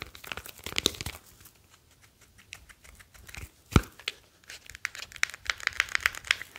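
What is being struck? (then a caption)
Smartphone with glass screen and metal back. Fingertips rub along the sides and metal back of a grey smartphone with a glass screen, which is held by its edges. The result is dry, crinkly scratching and rustling in short bursts with quiet gaps, one louder thump partway through, and bright little ticks toward the end.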